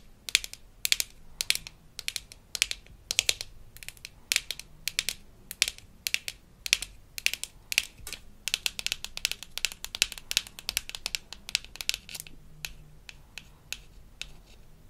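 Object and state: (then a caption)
Plastic toy floss container. Long fingernails tap and scratch the sides and top of a small, hollow pink plastic toy floss case from a Melissa & Doug Super Smile Dentist Kit. The result is a rapid, irregular stream of sharp, dry, bright clicks and scratchy ticks with almost no low end, each dying away instantly.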